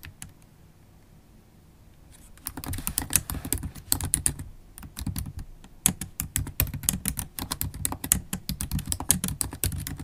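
Long acrylic nails and fingertips type fast on a MacBook Pro keyboard with black plastic keys in an aluminium body. After about two seconds of near quiet with a few light taps, a dense run of sharp, bright clicks and soft thuds begins. The clicks pause briefly near five seconds, then resume.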